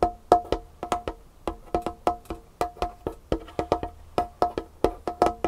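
Long painted fingernails of both hands tap rapidly on a large, solid, dark-stained wooden tabletop. About 26 quick, dry taps land in an uneven rhythm, each a sharp click with a short, hollow woody tone that dies away almost at once.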